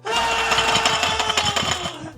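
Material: Stainless steel.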